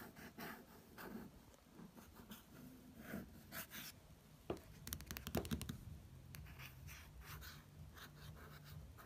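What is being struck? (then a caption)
Glossy paper magazine. A fingertip traces the printed text and image on the glossy paper cover of a magazine, making quiet, soft rubbing and scratchy brushing sounds. A cluster of slightly sharper, brighter strokes comes near the middle, and a faint low hum sits under the later part.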